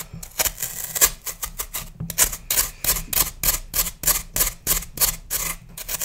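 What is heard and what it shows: A hand-sized, solid, pale green floral foam block held in one hand is scraped and carved with a metal knife over a plastic tub, with crumbs falling away. The knife makes a run of quick, dry, bright scratching strokes in an uneven rhythm, each one short and crisp with almost no ring.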